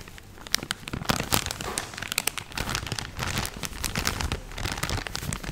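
A full, medium-size soft plastic film pouch of cotton makeup-remover pads is held in both hands and crinkled and squeezed with fingertips and nails. It makes dense, bright crackling crinkles with sharp snaps scattered throughout, over a soft low rustle.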